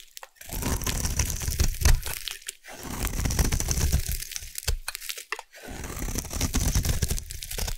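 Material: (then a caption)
Soap. A small metal blade scrapes and shaves a hand-sized solid yellow bar of soap held in one hand, curling off thin shavings onto a bed of shavings below while fingertips with dark painted nails steady them. Dense, irregular crunchy scraping and crinkling comes in three long bursts with short quiet gaps, heavy in low rumble with a thin bright hiss on top.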